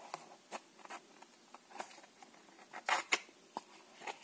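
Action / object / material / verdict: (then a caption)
tap / small cardboard playing card box / cardboard / none. A small red Dal Negro cardboard playing card box, held in both hands, is tapped with long manicured nails and then handled near the lid at the end. The result is a quiet, irregular series of sharp, dry, bright clicks and light taps with almost no low end and very little ring, the loudest taps falling near the end.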